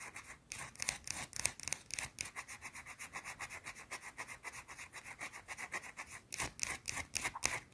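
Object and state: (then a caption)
Bar of soap. Long blue nails scratch and rub a small, round, flat, solid white soap bar held in the hand. Quick, bright rasping strokes repeat in a fast, uneven rhythm, dry and high-pitched with almost no low end. The strokes grow louder and more forceful near the end.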